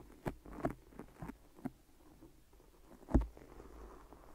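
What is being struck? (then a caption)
Microphone wrapped in adhesive tape. Long nails and fingertips tap and press on two binaural microphone ears wrapped solidly in white sticky adhesive tape. The result is a series of quiet, low, muffled taps and tacky presses with almost no high end, the loudest coming near the end.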